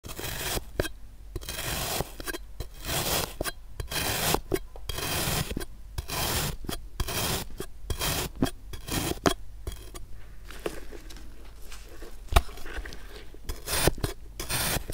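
A pink plastic knife slices repeatedly through solid, packed blue kinetic sand domed above a small clear plastic cup held in a black-gloved hand. Each stroke gives a crunchy, rasping scrape with broadband grit and a low rumble, separated by short quiet gaps.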